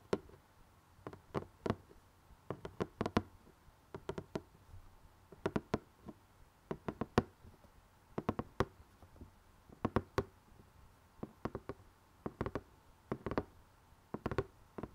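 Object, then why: Cardboard jigsaw puzzle box. Fingertips and nails tap the top edge of the glossy printed lid on a closed rectangular cardboard jigsaw box holding puzzle pieces. The result is a steady run of quiet, dry, short knocks in small clusters with brief pauses, each with a low hollow body around 230 Hz and a bright click, over near silence.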